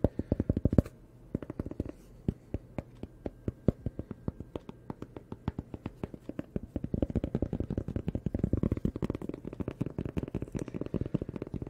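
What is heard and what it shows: Fingertips and nails scratch and rub the rough surface of a flat, thin, solid rectangular cork sheet about the size of a hand, held up in both hands near the face. The result is a rapid series of short, dry, scratchy ticks with a muffled low body and almost no ring. The scratching comes in quick bursts at first and becomes a denser, continuous rasping in the second half.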